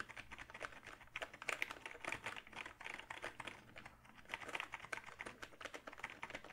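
Fingertips type steadily on a hollow plastic backlit gaming keyboard held up close, making a fast run of bright, sharp clicks and taps that die away almost instantly. A faint crinkling sits under the typing, with a few short pauses between bursts of keystrokes.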